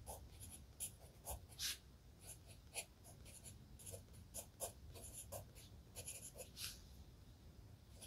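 A wooden pencil writes continuously in an open spiral-bound notebook with lined paper pages lying flat on a desk. The graphite tip makes soft, bright scratching strokes across the paper, with short louder scrapes standing out over a quiet low rumble.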